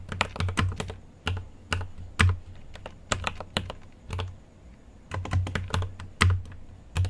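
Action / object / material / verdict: tap / mechanical keyboard with plastic keycaps and metal case / plastic / none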